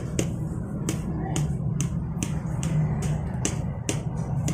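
A telescopic fishing pole section, reinforced with paper tape and glue and sanded smooth, sits inserted in the first segment and is knocked repeatedly against a hand. Each knock gives a short, sharp, solid tap over a steady low background hum. The solid sound confirms the joint fits snugly.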